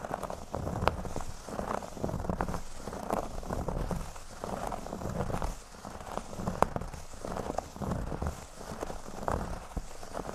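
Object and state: Cork board being scratched.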